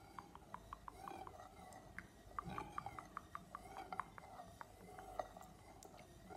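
A thin stick taps quickly along the edge of the metal lid on an empty glass jar, with fingernails also touching the lid. The result is a quiet, irregular series of short, dry clicks with a faint mid-pitched ring around 730 Hz that dies away almost at once.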